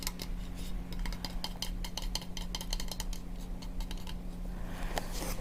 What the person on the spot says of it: This one has a finish of brushed nickel.